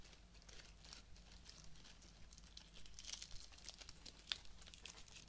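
Fingertips and nails rub and crinkle a small bouquet of pink artificial roses with fabric petals, plastic stems, plastic leaves and sprigs, held close up. Soft, dry, bright crinkling and scratchy rustles come in quick, uneven bursts over a steady low hum. One sharper crackle stands out near the end.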